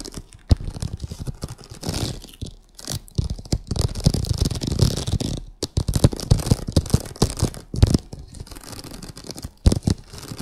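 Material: Vinyl.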